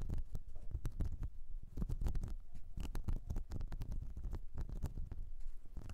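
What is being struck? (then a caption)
Silicone brush cleansing mat. Long nails on both hands scratch the ridges of a whale-shaped blue silicone makeup brush cleansing mat with a nubbed texture. The result is a dense, steady run of quick, dull scratching strokes with soft, low thuds and very little ring.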